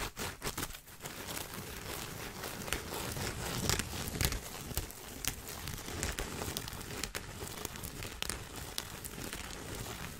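Fingertips and nails scratch and tap the crown of a large woven straw sun hat with a frayed brim and black band, held in front of the microphone. A steady, dry, crinkly scratching runs throughout, broken by irregular short, sharp taps that crackle brightly and die away almost instantly.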